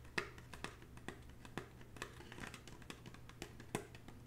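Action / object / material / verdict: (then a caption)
tap / woven straw bag / straw / none. Long natural fingernails tap across the surface of a hollow red woven, braided straw bag. The result is a quiet, steady series of short, dry clicking taps with a bright, crackly straw texture over a faint low hum.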